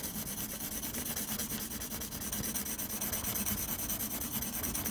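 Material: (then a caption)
Paper. A blue mechanical pencil scratches repeated shading strokes across a flat sheet of textured drawing paper. The result is a steady, rapidly pulsing, raspy scratching with a bright hiss on top and a soft low rumble underneath, staying at an even level throughout.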